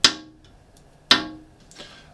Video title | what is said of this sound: Freedom Models 1/48th X47B Review | it's quite that sharp, snappy plastic